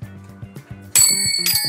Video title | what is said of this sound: PANG-MALAKASAN NA SURPLUS MASSAGE CHAIR ORIGINAL GALING JAPAN GOOD AS NEW MABIBILI MO NG MURA DITO! | Matining. Basta maganda yung tunog niya.